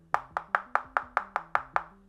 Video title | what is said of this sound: Ultimate Guide to Upgrading Your Budget Mechanical Keyboard! | That doesn't sound very hollow, and that's because there is case dampening inside of this one.